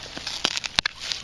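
A digging tool strikes a buried glass whiskey bottle with an aluminum top, likely from the 1930s or 40s, while digging out a metal detector signal in rooty ground. Six short, bright clinks stand out over faint scraping, each dying away almost instantly. The sound marks the buried object as glass, and the bottle is then dug out.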